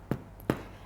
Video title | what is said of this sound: Thermomix cookbook author alyce alexandra's Cheat's Sourdough - Best Thermomix Recipes | And as you can hear, it sounds hollow and that means it's cooked all the way through.